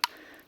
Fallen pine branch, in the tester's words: 硬い音 叩いてするのが松ヤニが入っている